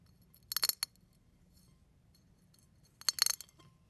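A fingertip presses down on brown and white eggshell fragments on a plate, crushing them. Two short bursts of crisp, bright crackling snaps are heard, each a quick cluster of tiny clicks, separated by near silence.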